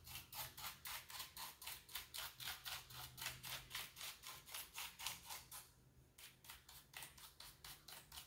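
A small wooden-handled bristle brush sweeps over and between the keycaps of a full-size, hollow-bodied black plastic computer keyboard. About 30 quick, bright, hissing brush strokes follow in a steady rhythm, with a brief pause near the end before the strokes resume more softly.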